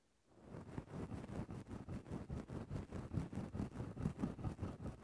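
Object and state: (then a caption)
Synthetic fur microphone windscreen being scratched. The tip of a wooden stick is pushed into a grey synthetic faux-fur microphone windscreen and scratched in small movements. After a brief silence, a steady run of muffled, rumbling scratch strokes begins, pulsing rhythmically and heavy in low frequencies.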